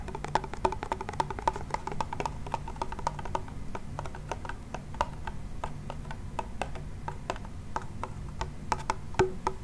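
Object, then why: Wooden toy pellet drum with membrane heads. A small wooden toy pellet drum, with a wooden frame, a white membrane and a wooden handle, is shaken and twisted so its beads strike the heads. This produces a rapid, irregular run of short, dry, woody clicks with a faint pitched tone around 375 Hz. The clicks sit over a steady low rumble.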